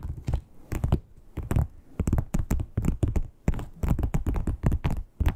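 Long pointed nails tap and knock on the surface of a flat red croc-embossed, crocodile-textured leather wallet. A quick, irregular run of dull, low thuds with short bright clicky tops, each dying out almost at once, with brief quiet gaps between bursts.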